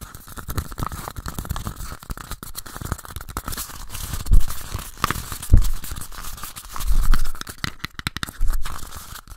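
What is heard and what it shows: Two identical small, empty pink paper cups, one held in each hand, are quickly scratched and tapped with fingertips and nails. The result is a dense, irregular stream of dry, crinkly scratches and short tapping clicks with a papery rasp. Several louder, thumpier bursts stand out partway through.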